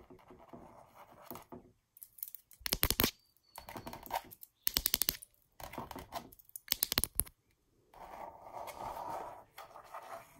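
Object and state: Textured canvas wall art.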